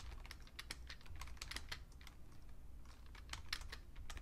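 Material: Plastic.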